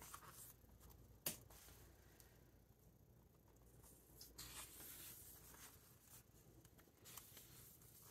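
A large hardcover Victoriana book with glossy paper pages lies open on a wooden table while fingertips turn the pages and rub across them. Quiet, bright papery rustling and brushing runs throughout, with one sharp crisp page snap early on and louder swishing swells near the middle and end.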